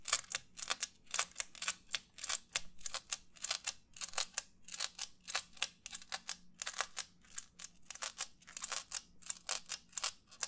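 Fingernails rapidly tap and scratch the lower rim of a white, textured, disposable paper plate. Dozens of quick, dry, papery scratches and taps come in a steady, rhythmic stream, each short burst bright and crisp with almost no ring and very little low end. The result is a continuous, crackly scratching texture at a soft, close level.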